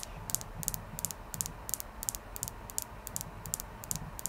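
A clear quartz crystal is tapped steadily throughout, producing quick, light, bright clicking taps that fall in rapid pairs about every third of a second. Each tap is short and dry with almost no ring, over a faint low background hum.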